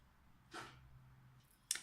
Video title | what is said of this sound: Glitter party nail for the holiday | tapping with it or tapping with your finger you can hear that the nail is dry